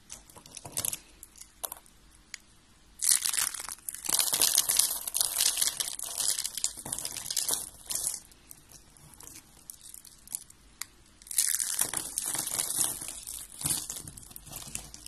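Fingers with red nails crush yellow and white rolled dry soap curls, shaped like roses, into flakes. Dense, bright, dry crunching and crackling comes in two long bursts, with sparse small crinkles in the quieter stretches between them.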